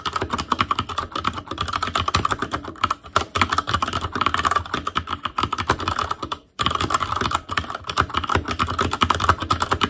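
Fingertips of both hands type rapidly on a full-size ASUS ROG Claymore Core keyboard with plastic keycaps on Cherry MX Red switches, a metal plate, a hollow case and an RGB backlight. The result is a dense stream of short, sharp clacks with a bright midrange tone and a low hollow thump. The typing pauses briefly about two-thirds of the way through, then resumes.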